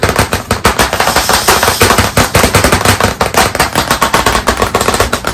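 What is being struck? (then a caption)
Wood-framed chalkboard. White chalk sticks held in both hands tap rapidly on a medium, solid, flat black chalkboard panel set in a wooden frame. The result is a dense, continuous rattle of sharp, dry clicks with a mid-range knock around 470 Hz, each tap dying away quickly.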